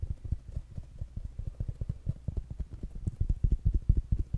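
Fingertips and nails tap quickly on a small rounded black smart speaker with a fabric mesh cover. About 27 short, dull, low thumps come in a fast, somewhat uneven run and grow a little louder toward the end. Each one stops almost at once with no ring.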